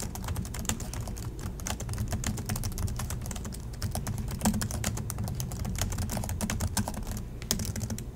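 Fingertips of both hands type steadily on the black plastic chiclet keys of a silver Acer laptop resting on a desk in dim light. Rapid, dense key clicks and taps run throughout, with short, bright attacks over a steady low hum.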